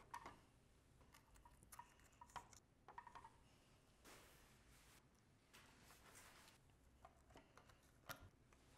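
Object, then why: Carved wooden toy car. Fingertips and nails tap and scratch along the grille slats and perforated bumper at the front of a hand-carved solid wooden 2020 BMW X5 toy-size model resting on a white table. Quiet, dry wooden ticks with a brief woody ring around 1.4 kHz alternate with soft, hissy scraping bursts that reach into the high range. The result is a gentle, irregular patter of clicks and rubs that fades quickly after each touch.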